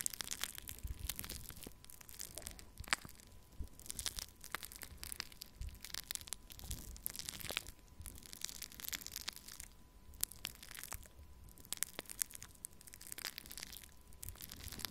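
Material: Foam beads.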